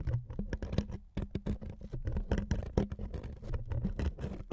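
Fingernails scratch along the edges and surface of a thin wood veneer sheet resting on two microphones. The result is a dense run of quick, dry scratches and taps with short bright crackles over a heavy low thump, pausing briefly about a second in before continuing steadily to the end.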